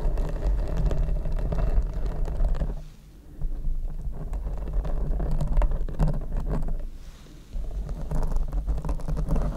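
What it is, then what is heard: Foam microphone windscreen being scratched. Long red nails scratch both sides of a large, hollow black open-cell foam windscreen fitted over a Rode microphone. The result is a dense, low, muffled rumbling scrape, almost all bass, that briefly drops to near quiet around three and seven seconds before resuming.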